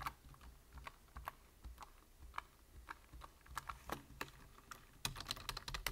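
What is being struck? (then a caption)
Plastic computer keyboard. Fingertips of one hand tap rapidly on a black plastic computer keyboard with hollow keys, producing about eighteen short, dry clicks. Each keystroke has a bright plastic clatter over a soft low thud and dies away almost at once. The typing grows denser and louder in the last second.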